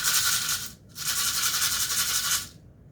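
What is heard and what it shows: A container of dried lentils is shaken, giving a dense, bright rattling hiss of lentils spilling against each other. The sound runs in two bursts, a short one, a brief pause near 0.8 seconds, then a longer one, before it stops.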